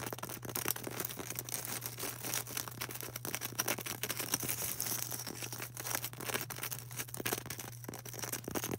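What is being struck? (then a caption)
Polystyrene foam ball. Long orange acrylic nails tap and scratch a solid, palm-sized white polystyrene foam ball, making a dense run of quick, dry clicks and bright, crackly scrapes. A steady low hum runs underneath throughout.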